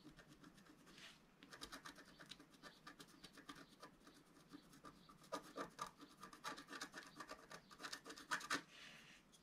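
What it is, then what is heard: Scratch-art paper being scratched. A wooden stylus scratches across the lower middle area of a flat, black-coated scratch-art card. The result is a quiet series of dry, rasping strokes with a bright, papery hiss. The strokes turn sharper and louder toward the end.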